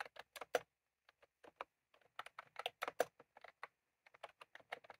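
Fingertips of both hands type on a white/cream plastic retro computer keyboard with round typewriter-style keycaps, resting on a desk. About nineteen short, dry key clicks are heard in irregular bursts with brief pauses. The clicks center in the midrange with little low end, a slight bright edge and almost no ring.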